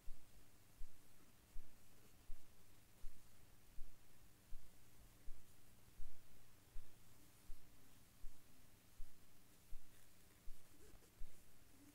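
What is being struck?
Nothing is struck.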